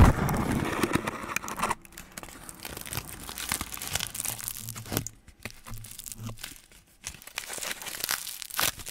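A sheet of aluminium foil is crumpled over the top of a microphone, then held near it and crinkled and rubbed with fingertips. A loud, dense burst of crackling in the first couple of seconds gives way to quieter, intermittent crinkles and soft rubbing with brief pauses, over a low rumble.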